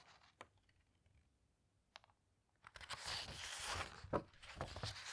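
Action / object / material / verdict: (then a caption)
scrape / hardcover book with glossy paper pages / paper / none. Long red-painted nails and fingertips turn and squeeze the glossy paper pages of a large, thick hardcover book with a teal cloth cover lying open on a table. Two faint, brief page ticks sound in the quiet first half, then a louder, bright papery rustle and crinkle swells from about the midpoint. A sharp crackle peaks near the end before the rustling continues.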